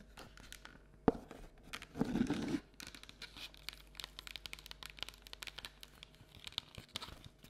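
A medium, hollow, round printed cardboard Halloween candy bucket with a pumpkin design, held in both hands, is tapped and scratched on the outside with long natural nails. A sharp tap near the start and a dense, half-second scratching burst are followed by many quick, dry nail taps and light scrapes with a papery, crinkly texture and no ring.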